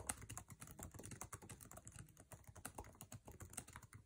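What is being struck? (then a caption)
Laptop keyboard with plastic keycaps and aluminum body. Fingertips type fast on a MacBook Air keyboard with plastic keycaps set in an aluminum chassis, producing a rapid stream of around thirty keystrokes in four seconds. Each tap is a short, dry click with a soft low thud beneath a bright tick, dying away almost instantly.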